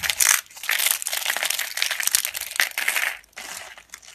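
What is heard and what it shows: A hand presses and crushes a pile of dry yellow household laundry soap slices and broken flakes with its fingertips and palm. The result is dense, bright, crunchy crackling with almost no low end, coming in bursts with brief quieter pauses between presses.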